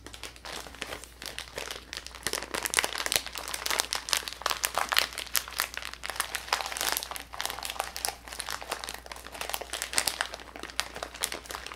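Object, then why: Plastic zip bag of small metal beads. A hand-sized clear plastic zip-top bag, about half full of small silver metallic beads, is held in both hands and squeezed, crinkled and shaken with the fingertips. It makes a dense, continuous stream of bright plastic crinkling and crunching with quick, sharp, rattly clicks. The sound swells and eases throughout over a faint, steady low hum.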